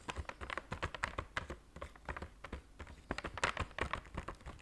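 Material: Cardboard.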